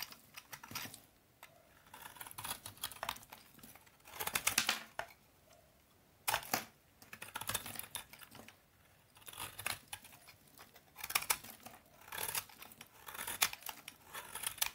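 A utility knife blade slices and scrapes the surface of a solid bar of brown vintage Soviet household soap, cutting it into crumbly shavings. The result is bursts of dry, bright crackling and scraping made of many quick, sharp ticks, separated by short near-silent pauses.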